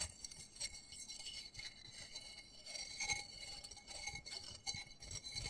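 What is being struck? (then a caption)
Textured plastic flower pot. Fingernails scratch and rapidly tap the patterned side of a small black textured plastic flower pot holding soil and a cactus. The sound is quiet, bright clicking and scratching with short, crisp ticks and little low end.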